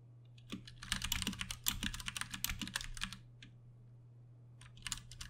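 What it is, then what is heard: Plastic mechanical keyboard typing. Both hands tap with their fingertips on a Ducky One 2 Mini, a compact 60% RGB-backlit mechanical keyboard with plastic keycaps and Cherry MX Brown switches, sitting on a desk. A rapid run of bright, clacky keystrokes with short low thuds pauses for about a second, then picks up again, all over a steady low hum.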